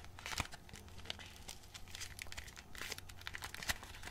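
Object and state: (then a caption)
Cardboard box of modelling clay being opened. A small printed cardboard box of Pelikan plastilina modelling clay, still closed with its contents hidden, is held in both hands while fingertips pry open and crinkle its glued cardboard flap. Quiet, dense, bright crinkling and tearing crackles run throughout, with sharper snaps standing out near the start and end.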